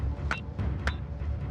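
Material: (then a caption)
Iron ore. Two lumps of freshly mined high-grade iron ore are banged together three times in the Mount Whaleback pit, giving short, bright metallic knocks over a steady low rumble. Their metal-like ring and heavy weight show their high iron content.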